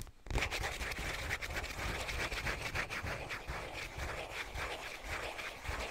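A hollow cardboard Scotties tissue box is held close to the microphone and tapped and scratched with fingernails. The result is a steady, dense scratching texture with a bright papery edge, layered over soft, low, hollow thumps from the taps.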